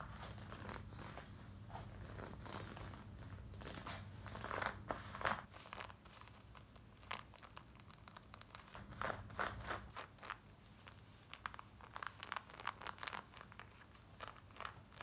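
Long acrylic nails scratch fast over worn black denim jeans, soft fabric over the body, moving across the front, waistband and pockets. Quick, dry, bright scrapes and crinkly rasps come in dense bursts over a steady low hum, louder around the middle and then in sharper, scattered strokes toward the end.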